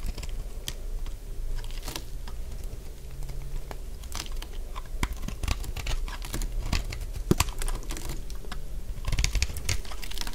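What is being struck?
Bar of soap scraped with a metal blade.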